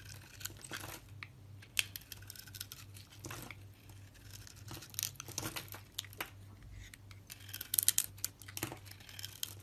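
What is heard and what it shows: A solid hand-held bar of soap with a red coating and white interior is shaved with a metal utility knife blade. Quiet, dry scraping and crisp cutting sounds come in short bright bursts over a low steady hum.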